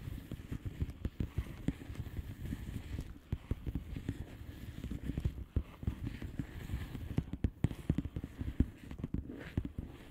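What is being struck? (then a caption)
Plastic bubble wrap envelope. Long painted nails of both hands tap rapidly on a flat blue plastic bubble wrap envelope with air-filled bubbles. The sound is a steady stream of short, dull, low thuds with a soft papery patter and no ringing.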